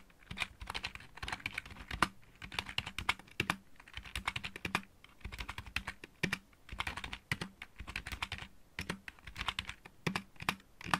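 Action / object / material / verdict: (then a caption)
tap / plastic mechanical keyboard / plastic / none. A full-size backlit mechanical keyboard with plastic keycaps is typed on with the fingertips of both hands. Rapid bursts of crisp, bright plastic clacks come in quick runs separated by brief pauses, with a soft low thud under each burst. Each keystroke is short and dry with almost no ring.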